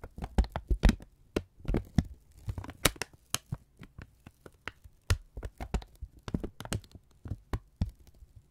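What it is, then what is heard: Kraft paper strip being crumpled. A thin brown kraft paper strip is held in both hands and folded and crumpled with the fingertips. The result is a dense run of sharp, dry crinkles and crackles over a low hum, with bright transients and quick decays.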